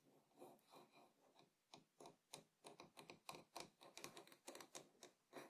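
Fingertips tap on the rim and outer side of a small, empty, hollow wooden bowl resting on a table. The taps are quiet and uneven, producing short, dry, hollow knocks with a bright clicky edge that die away almost at once. They start soft and blurred, then become sharper and more distinct.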